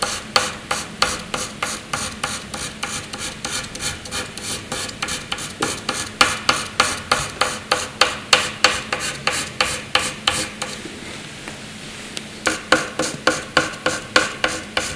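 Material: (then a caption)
Paper. The graphite tip of a black wooden pencil, held in the hand, makes short hatching strokes on a flat sheet of white drawing paper resting on a hard surface. The result is a rapid series of dry, bright, scratchy strokes, about three per second, each ending quickly. The strokes soften and pause briefly near the end, then resume.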